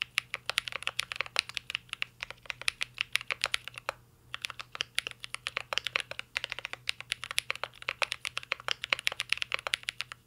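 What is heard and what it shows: Fingertips of both hands type steadily on a full-size CYBERBOARD R3 mechanical keyboard with an aluminum case, plastic keycaps and Holy Panda switches. The result is a rapid stream of short, dry, bright clicks and clacks, each ending almost at once and centered around 2.5 kHz, with a brief pause near the four-second mark. A faint low hum sits underneath.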